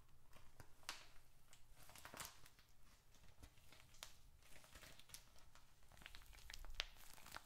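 A small dark red leather bifold wallet with paper contents is held in both hands and squeezed, rubbed and tapped with fingertips and short nails. Quiet sticky leather sounds and paper crinkling are heard, broken by sharp, bright clicks and taps over a low background rumble.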